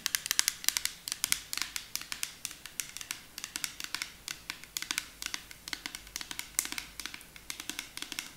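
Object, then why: Plastic bottle tapped with fingernails. A clear plastic nail polish remover bottle with a pink cap, partly filled with liquid, is tapped rapidly with long acrylic nails. Dozens of sharp, bright clicks and light scratches follow in quick irregular bursts. Each one is crisp and dry with almost no low end and no ring.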